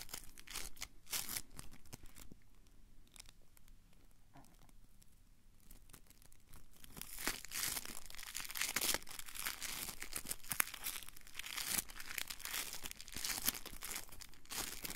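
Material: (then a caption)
Foam. A small orange textured foam ball is cupped in both hands, squeezed and rubbed with fingertips, producing dense, bright crinkling and tearing-like rustles. The scratchy texture softens to a quieter stretch in the early seconds, then grows louder and busier through the rest of the clip.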